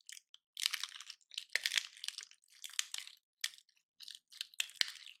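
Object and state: Painted dry pine cone being crunched.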